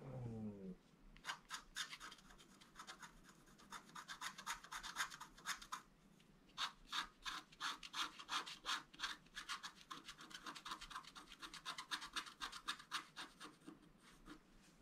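A wooden stylus scratches short strokes into a flat black-coated scratch art card, etching the left tree trunk. After a brief low tonal sound at the start, quick dry, bright scratching strokes repeat in uneven bursts, about three per second, each rasping briefly and fading at once.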